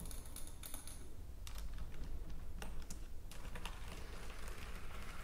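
Long nails and fingertips tap fast on a white plastic computer keyboard, making quick, crisp clicks with bright edges. The taps come in uneven bursts over a steady low hum.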